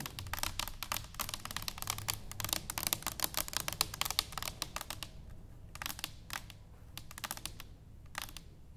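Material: Stainless steel.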